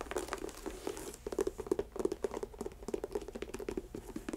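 Long acrylic nails scratch and tap the upper of an empty white leather athletic sneaker with laces, held in a lap. Quick, dry clicking taps and crinkly scratching patter in an uneven stream, with a steady mid-pitched tone near 380 Hz. The sound stays fairly quiet with no ring after each hit.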